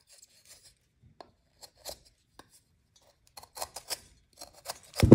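A metal knife blade scrapes and cuts the edge of a solid white magnesium carbonate gym chalk block held over a glass bowl full of chalk powder. Short, dry, bright scratching rasps come sparsely at first, then crowd together. The clip ends in a louder, fuller crunching scrape.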